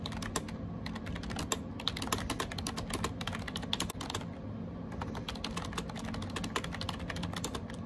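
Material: Plastic.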